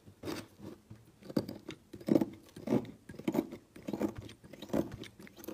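A small metal knife blade shaves and scrapes curls off one edge of a solid rectangular brown bar of soap held by hand over a woven mat, with a pile of shavings collecting below. Quiet, crunchy scraping strokes come in short, uneven bursts at a steady working pace, with a soft, mid-low papery texture and almost no ring after each stroke.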